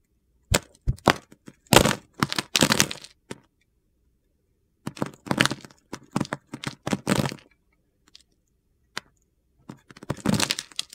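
A solid light blue Coast soap bar, held in the hand, is carved into thin slices with a metal utility knife blade. Each cut gives a sharp, dry crackling crunch, coming in short bursts and clustered runs separated by brief silences.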